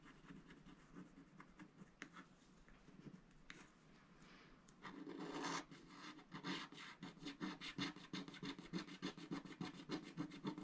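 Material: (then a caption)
Coated paper. A wooden stylus scratches the motifs along the top edge of a flat, coated scratch-art paper sticker sheet held in the left hand. Soft, continuous rasping scratches grow into a louder sustained scrape, then give way to quick, bright back-and-forth strokes at about three or four per second.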